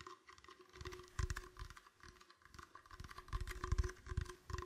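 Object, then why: Clear plastic bottle. An empty, clear, hollow plastic bottle is moved around a microphone while fingertips tap and squeeze it. Soft, dull, hollow taps and crinkly squeezes come in quick, irregular clusters, loudest around the middle and near the end. A faint steady hum sits underneath.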